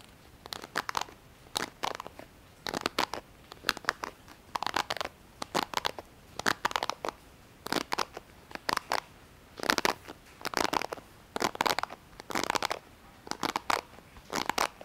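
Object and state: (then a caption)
Plastic hairbrush. Fingertips pluck and scratch along the plastic bristles of a small pink plastic paddle-style hairbrush, held up close with both hands. Quick clusters of dry, crackly, bright scratches come in repeated bursts with short pauses between them. Each burst stops sharply with almost no low end.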